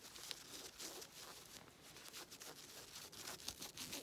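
Long red nails scratch and rub quickly over the ribbed knit fabric of black stretchy leggings being worn, which have a ribbed elastic waistband. The result is a quiet, continuous, bright scratching and rasping texture with fast, irregular strokes and little low end.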